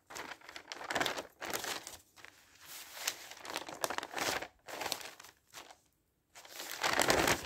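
Thin newsprint pages of a newspaper are lifted and flipped over by hand, one after another. Each turn makes a bright, crinkling rustle with little low end, separated by short quiet gaps.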